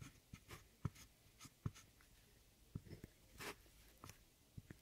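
A metal loop-ended tool with a rhinestone handle scratches and digs into a brown pressed powder pan in an eyeshadow palette. About nine soft, dull taps and gritty scrapes sound at an irregular pace, with brief bright crumbly scratches between them and no ring after each hit.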